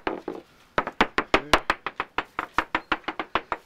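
A small metal pein hammer taps along the underside of a large, hollow, blue-painted GRP (fibreglass) hull of a small sailing yacht on stands, checking for hollow spots. There are 20 short, dry knocks: two, a brief pause, then a steady run of eighteen. Each is a clipped mid-pitched tap with a bright edge that dies away almost at once.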